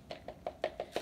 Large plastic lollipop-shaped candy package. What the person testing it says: it sounds like it's hollow like it's like it's something inside like it's an empty can